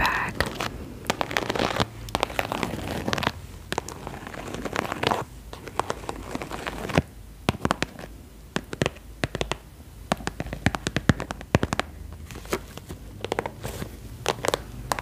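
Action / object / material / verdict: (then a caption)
tap / soft-sided textured vinyl cosmetic pouch / vinyl / none. Long nails tap and scratch the textured surface of an iridescent holographic faux-croc vinyl cosmetic pouch, which is hollow and soft-sided. Many quick, dry clicks and crinkly scrapes come in uneven bursts over a low, soft background.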